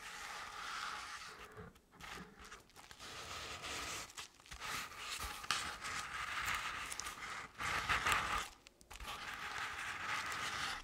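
Long decorated acrylic nails slowly scratch both sides of a medium-sized round decorative jack-o'-lantern covered in crinkled orange crepe paper with black paper face cut-outs. The result is a soft, steady papery scraping and crinkling with a bright, hissy top, broken by a few brief pauses.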